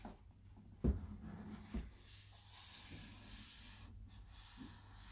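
Hands in white cotton gloves rub and stroke their fingertips across the printed face of a closed, hollow, medium-size cardboard product box for a microphone isolation shield. A soft, low, papery brushing continues throughout, broken by two duller, louder bumps against the box near the start.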